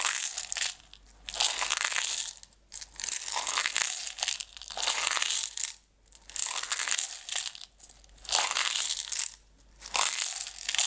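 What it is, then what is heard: Plastic jar of decorative stones. Long red nails scratch and tap the walls and lid of a closed clear plastic jar full of green decorative stones. Bright, crinkly scratching comes in irregular swells, about every second or two, with short quiet gaps and faint taps between them.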